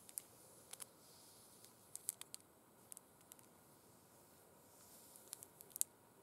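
Long red acrylic nails scratch and tap over burgundy faux suede gloves with sequin stripes, which lie flat and empty on a glitter cloth. Quiet, bright, dry clicks and ticks are scattered over a faint, soft scratching hiss, and each tap stops at once.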